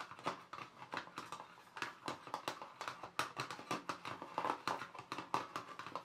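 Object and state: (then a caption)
Plastic watercolour paint box. Fingertips and nails tap across the lid of a small, closed, hollow black glossy plastic watercolour paint box. A quick, uneven run of light, dry clicks and knocks follows, each with a hollow tone near 900 Hz and a bright edge, dying away almost at once.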